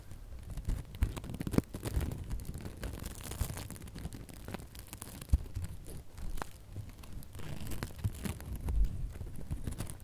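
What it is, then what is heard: Glitter ribbon bow. Long nails scratch and squeeze the loops of a small gold and red glitter ribbon bow, crinkling them. Dense, quiet crinkling and scratching rustles on throughout, with a few sharper ticks standing out.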